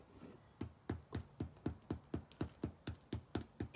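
A freshly baked paleo nut and seed loaf is tapped in a quick, steady series of dull, hollow knocks, each short with little ring. The hollow sound shows the loaf is ready and cooked through.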